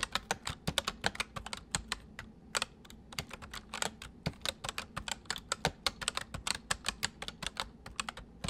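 Fast, uneven typing on a full-size white plastic mechanical keyboard with white keycaps, resting on a wooden desk: the left hand types while the right hand taps the numpad with its fingertips. About 47 sharp, bright plastic clacks stop almost instantly, over a faint low hum.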